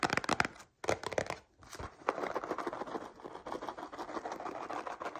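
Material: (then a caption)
Cardboard. Long painted nails tap quickly on a small, hollow, printed cardboard cereal box standing on a table, making two short bursts of dry, papery clicks separated by brief pauses. The nails then scratch steadily across the cardboard, a continuous crinkly rasp that runs to the end.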